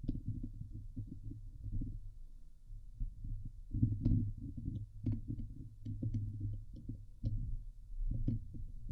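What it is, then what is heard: Metal mesh microphone grille being scratched. Fingertips and long nails of both hands scratch the hollow steel mesh grille of a Blue Yeti microphone. The result is a dense, muffled stream of low, thumping rubs centred around 110 Hz, with occasional brief, bright ticks from the nails catching the mesh.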